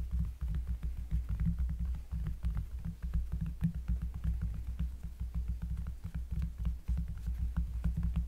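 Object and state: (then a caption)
Cork surface, finger tapping. Fingers tap on a cork surface up close, making a fast, uneven run of deep, bassy thumps. Each tap is a short, muffled low-pitched knock with a faint tick on top, and the taps blur into a steady throbbing rumble.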